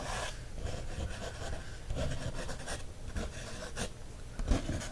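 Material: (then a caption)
Paper. A wooden stick traces across an open page of a paper coloring book. The result is a quiet, continuous scratchy rasp with a soft low rumble underneath, swelling a little as the stroke presses harder and ending on a slightly louder scrape.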